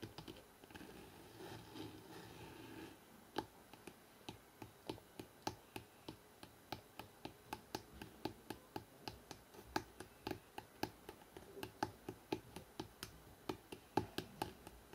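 Fingertips tap fast across the spine of a hardcover book printed "NEW YORK," held horizontally. After a few seconds of soft, scratchy rustling, dozens of quick, dry, short taps follow in a steady run, each a clipped knock with a bright click on top.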